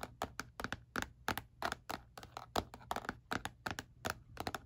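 Fingertips tap on the textured back panel of a black hard plastic calculator lying face down, its casing hollow. About 25 quick, dry taps sound in an uneven rhythm, each clicky and hollow with a faint low hum underneath and almost no ring after.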